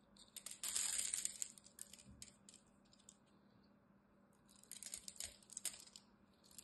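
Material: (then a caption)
Soap. A metal blade carves into a solid green dry soap bar held in the hand, its surface cut into cubes. Bright, crisp scraping and crackling bursts come in two clusters, the first loudest just after the start and the second near the end, with a quiet stretch between.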